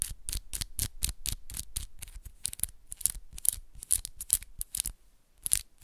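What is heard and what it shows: Long pink and black acrylic press-on nails are tapped and scratched against each other, with the nail tips of one hand working over the nails of the other close up. The result is a rapid, uneven run of sharp, bright clicks and raspy scrapes, about four per second, each cutting off dry with no ring.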